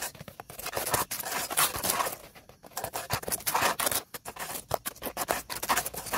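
Two dark bristle brushes scrub fast and hard across an upright, weathered, solid dead tree stump, making a dry, rapid scratching and scraping. The bristly rasps come in quick, uneven bursts with bright, airy hiss and almost no low end. Each stroke stops dead with no ring.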